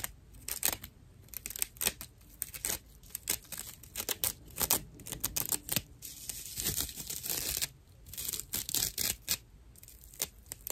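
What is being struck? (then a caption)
Natural loofah sponge. Long nails scratch a dry natural loofah, a fibrous plant material, producing rough, bright, tearing scratches in dense bursts. The strokes crackle and rasp with short, quick decays, and quieter pauses fall between the busier passages.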